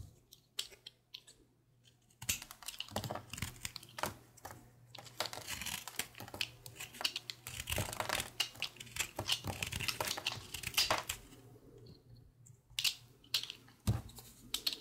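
A utility knife blade slices and scrapes thin shavings from a small, solid, pale green soap piece held in the fingers. Sparse dry ticks give way to a dense run of crisp, bright scraping and crackling cuts, then thin out into a few sharp clicks near the end, over a faint steady low hum.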